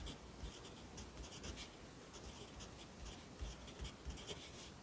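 A yellow wooden pencil held in the fingers writes across the page of an open lined paper notebook lying flat on a desk. The graphite gives a soft, continuous scratching on the paper, with brighter, high strokes in short bursts over quiet low thuds. The writing stays steady and low in level throughout.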